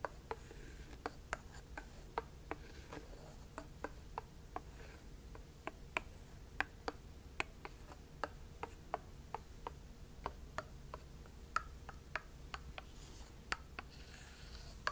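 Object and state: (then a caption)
Butternut squash. A thin wooden stick taps and scrapes along the smooth rind of a whole, uncut butternut squash, large, solid and dense, held in one hand. A long run of quiet, sharp, dry clicks with almost no ring sits over a soft scraping hiss and a low, steady hum.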